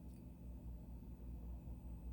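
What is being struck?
Nothing is struck.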